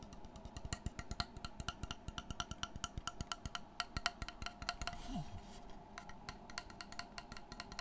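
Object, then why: Flat wooden panel. Fingertips and short nails tap and scratch the face and edge of a large, flat, solid, light wooden panel held upright close to the mic. Dozens of quick, dry, woody knocks with bright clicky tops die away almost instantly, in an uneven rhythm. Around the middle, the tapping gives way to a brief hissy scratching passage before it resumes.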